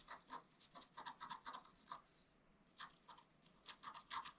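A wooden stylus scratches leaf details into a flat, black-coated scratch art paper card with short strokes. Quick, dry scratches with a bright, hissy edge come in uneven bursts around a 1 kHz tone, with a brief pause in the middle before the strokes resume.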